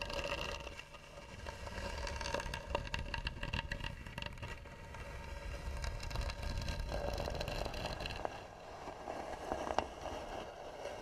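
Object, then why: Carved varnished wooden box lid. Fingernails of both hands rapidly scratch and tap the lid of a hollow, carved, varnished wooden box. The result is a dense, continuous scratchy texture with quick clicks, a low rumble underneath and a faint tone near 780 Hz, swelling and dipping in loudness throughout.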